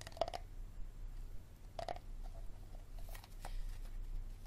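Fingertips and nails tap and scratch the ridged bottom and sides of a clear, hollow, hard plastic water bottle held in both hands above a wooden table, and the bottle is turned over by the end. Short clusters of hollow, slightly pitched taps come near the start and again around two seconds, followed by fainter scratchy strokes. A steady low hum runs underneath throughout.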